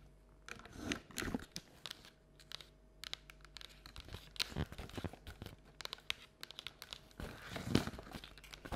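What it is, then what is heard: Paper treat bucket, empty. Long nails tap and scratch the outer printed wall of a hollow, empty paper or cardboard Halloween treat bucket with a jack-o'-lantern print and white interior, held in both hands. Quick, dry, crinkly taps and rasping scrapes come in irregular bursts over quiet pauses, each with a bright papery edge and no ring.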